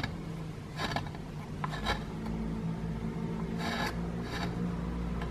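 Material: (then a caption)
Plaster. The tip of a wooden stick scrapes across a small, solid grey plaster block with a plastic dinosaur skeleton embedded in it. Short, dry, raspy scrapes come in separate bursts with a bright gritty edge. A steady low hum sits underneath throughout.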